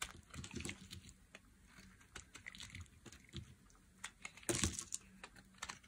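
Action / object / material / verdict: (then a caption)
scrape / bar of soap cut with a metal blade / soap / none. A metal utility blade carves and scrapes the edge of a hand-sized, solid yellow bar of dry soap. Quick, crisp scraping and crackling cuts come in irregular bursts, with a louder, brighter shave near the end. Each cut stops short with almost no ring.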